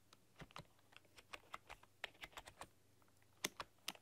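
Long dark-polished nails and fingertips type on a full-size plastic computer keyboard with black keycaps and a rainbow RGB backlight, pressing and clicking the keys. About sixteen separate bright, sharp clicks come at an uneven typing pace and each dies away almost instantly over a faint low hum.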